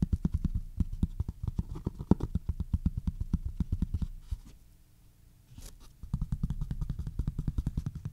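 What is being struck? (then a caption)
Cloth-bound hardcover book. Fingertips and short nails tap and scratch across the front cover of a maroon cloth-covered hardcover book lying flat. Quick, dull, low-pitched taps with almost no ring run for about four seconds, give way to a quieter stretch of soft scratching, then resume in a steady rapid pattern to the end.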